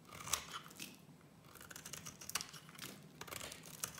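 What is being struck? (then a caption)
Soap bar cut with a utility-knife blade. A gold utility-knife blade scrapes and cuts thin shavings from the edge of a small solid green bar of soap held in one hand. The result is a quiet, bright, dry scraping with crisp rasps and a few sharper clicks that stop instantly without ringing.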